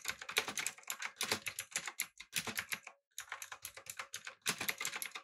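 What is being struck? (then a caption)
Mechanical keyboard with plastic keycaps. Fingertips type on a backlit, typewriter-style mechanical keyboard with round plastic keycaps. Rapid, bright, clicky key taps come in quick bursts, with a short pause near the three-second mark before typing resumes. Each click is crisp and dry with almost no low end.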